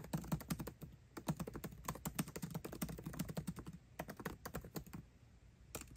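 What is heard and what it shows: Both hands type fast with their fingertips on a 13-inch aluminium MacBook Pro, tapping its backlit black plastic keycaps continuously. A rapid, steady stream of short, dry key clicks with a soft low thud and bright tick on each press, with brief lulls near the one- and five-second marks before the typing resumes.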